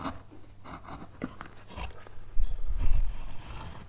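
A steel gouge makes repeated snipping cuts into a solid, light-wood basswood relief carving panel, leaving wood chips on the surface. Short, crisp scraping snips sound over a low, dull thudding that grows louder and denser toward the end.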